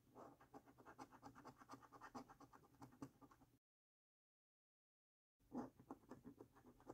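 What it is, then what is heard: Paper scratch card being scratched. A coin scratches along the symbol column of a thin, flat paper lottery scratch card with a latex coating. It makes a quick run of short, dry, rasping strokes. The scratching stops for nearly two seconds of silence, then resumes with a louder stroke and keeps going.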